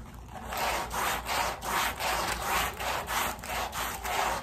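A red-handled bristle brush scrubs a wet, soapy woven pile area rug laid on a plastic sheet. It makes steady back-and-forth swishing strokes, each a rough, bright hiss centred in the mid range. The strokes repeat in a loose rhythm of about three per second.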